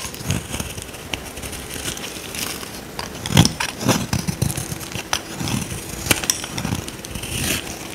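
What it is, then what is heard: Dry soap bar being scraped. A small metal blade scrapes across a dry, solid oval purple soap bar held in the hand, peeling off dry curls. Repeated dry, crackling scrapes rasp over a low, steady rumble, with sharper bright crackles and scratchy bursts standing out as the curls break away.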